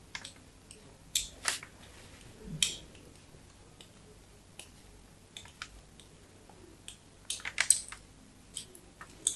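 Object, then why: Bar of soap scratched by a thin metal knife. A thin metal knife scratches crosshatch lines into the patterned surface of a solid, palm-sized white bar of soap held in the fingers, then scrapes along its edge. Sharp, dry, bright scratches come in short, irregular bursts over a faint steady hum, with clusters near the start and a denser run toward the end.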